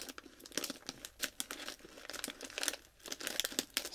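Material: Metallized plastic.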